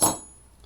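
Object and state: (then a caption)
Metal spoons clinked together. Two metal spoons, turned toward each other, are tapped together once for a homemade instrument. The result is a single bright clink with a thin high ring that fades within a fraction of a second.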